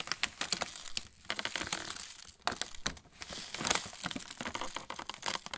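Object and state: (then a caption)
Plastic snack bag crinkling. An opened yellow Roland pretzel bag of metallized plastic film, with a clear plastic tray inside full of pretzel sticks, is held in both hands and squeezed by the fingertips, one of them bandaged. The film crinkles against the tray in a continuous stream of sharp, bright crackles and rustles, with short quieter pauses between bursts of squeezing.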